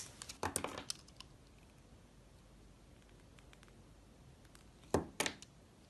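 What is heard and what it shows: A utility-knife blade shaves and carves strips from the lobes of a hand-sized, solid yellow soap molded as a banana bunch and held in the hand. A cluster of crisp, crackly scraping cuts is heard near the start, then a long quiet stretch, then a second burst of bright shaving strokes near the end.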